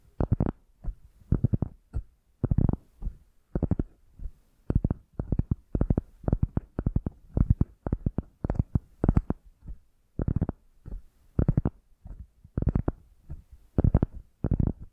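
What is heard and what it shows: A round, solid cork coaster is held in both hands while long nails scratch and tap its porous surface. The result is quick, dull, low-heavy clicks and scrapes in short, rhythmic clusters separated by brief pauses, with almost no ring after each touch.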